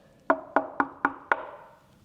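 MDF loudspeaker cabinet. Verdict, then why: Ringing. Five taps are made on the cabinet of a popular loudspeaker built from MDF. Each tap gives a hollow, woody knock around 1.4 kHz that rings on slightly rather than stopping dead, a resonance that sets it apart from a solid walnut cabinet.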